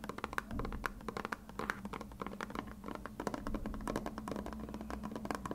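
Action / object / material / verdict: tap / plastic glue bottle / plastic / none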